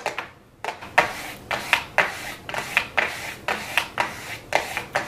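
Very long blue acrylic nails tap and lightly scratch the lid of a flat, closed, gold-foil cardboard eyeshadow palette in a Too Faced 'Golden' style, hollow and thin, lying on a wooden desk. It makes a series of crisp, hollow clicks, each trailing into a short bright scratchy rasp. The taps come at an uneven pace.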